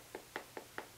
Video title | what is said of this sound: Nikon Prostaff 7 10X42x binocular review | a dull thud you know that sounds like a woodpecker pecking on a tree